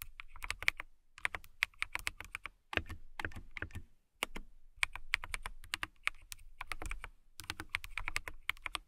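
Long nails tap and type on the clear plastic keycaps of a transparent acrylic mechanical keyboard, producing rapid bursts of crisp, bright clicks with soft low thuds beneath. The keystrokes come in quick runs separated by brief pauses, and each click stops almost instantly.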